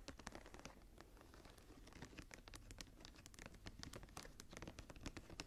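Fingertips and nails scratch and tap the embossed cover of a closed, solid brown leather journal with a blue stone inlay and a metal clasp. A quiet, steady run of short, dry scratches and soft taps follows, with bright scraping edges over a dull low body and no ring after each touch.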